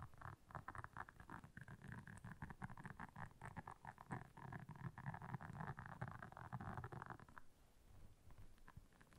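Long nails scratch rapidly across the soft bristles of a round, flat, blue silicone scrubber pad lying on black fur. The result is a dense, continuous rustling patter with a heavy low thump. A brighter midrange scratch drops away near the end, leaving a softer, quieter rasp.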